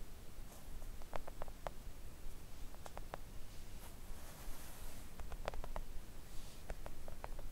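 Long acrylic nails on both hands tap a flat, thin, solid pink silicone nail art mat. The result is a scattered run of soft, short, dry clicks with almost no ring, heard over a steady low rumble.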